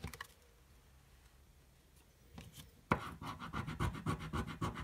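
A coin held in the fingers scratches the latex coating off a small, thin card scratch-off lottery ticket lying flat on a dark table. A couple of brief scrapes and a quiet pause give way to a run of quick, rough, rhythmic scratching strokes with a dry, gritty texture.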